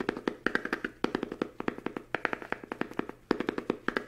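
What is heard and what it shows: Fingertips tap rapidly on the cover and edges of a small, solid hardcover book with a green patterned fabric cover, held up in both hands. Around 35 quick, dry taps come in uneven bursts, each dying away almost instantly, with a mid-range knock and a brighter click on some strikes.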